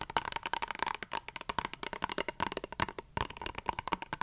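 Long fingernails tap and scratch the surface of a small squeezable plastic face wash tube, its contents not visible. A quick, steady stream of short, bright clicks and scrapes follows, each dying away almost at once, with a light hollow ring near 900 Hz and a brief pause just after three seconds.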